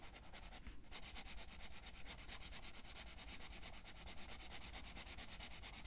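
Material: Paper.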